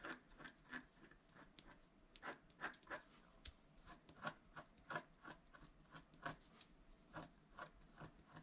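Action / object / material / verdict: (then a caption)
scrape / wax-coated scratch-art card scraped with a wooden stylus / waxed paper / none. A wooden stylus scratches fine lines into the centre of a flat scratch-art card made of wax-coated paper. About twenty quiet, short, dry scratching strokes follow in quick succession, each a brief rasp with a bright, papery edge. The strokes stop cleanly against a soft, hushed background.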